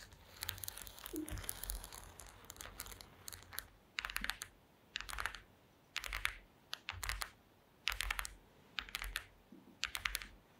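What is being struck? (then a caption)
Woven wooden slat placemat tapped with long nails. Long acrylic nail tips tap and scratch across a flat woven placemat made of small wooden slats. A quiet, continuous run of dry, bright clicking and scratching in the first few seconds breaks into short, separate bursts of rapid clattering taps. Each click dies away almost instantly, with little low end.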